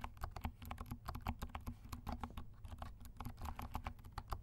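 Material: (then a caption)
Plastic. Fingertips of both hands type quickly on a compact black plastic mechanical keyboard with silent switches and black and pink plastic keycaps. A dense run of soft, dry, muffled key clicks follows one another with almost no ring, over a steady low rumble.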